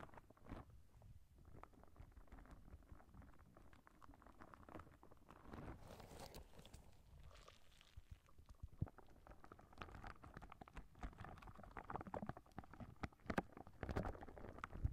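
A clear, soft rubber spiky squishy ball is squeezed in the hand while long nails scratch and pluck its spikes close to the microphone. The result is a quiet, close stream of dense rubbery scratching and crackling, soft squishing, and small sharp plucks, weighted toward low tones with brief bright clicks.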